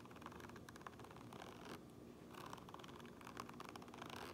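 Fingernails scratch the grey fabric lining and printed seam tape inside a black cap. The result is a soft, steady, dry scratching rustle with small ticks throughout, easing briefly midway before picking up again.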